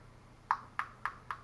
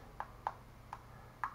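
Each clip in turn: First: solid-built plastic action camera body. Second: hollow thin plastic camera body.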